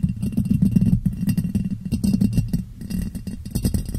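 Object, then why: Ribbed glass jar. A clear ribbed glass jar, hollow and empty, is turned upside down over the microphone and tapped on its sides with fingers. A rapid, steady stream of short, hollow taps is heard, dull and low with a resonance near 170 Hz, each one dying away almost at once.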